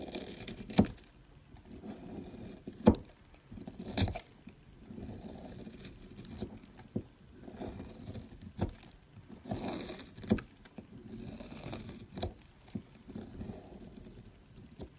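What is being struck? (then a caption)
Bar soap scraped with a metal knife. A solid mint-green bar of soap is held in the fingers while a metal knife scrapes shavings off it. Soft, low scraping strokes repeat irregularly, broken by several sharp, bright cutting clicks that stand out above the quiet shaving sound.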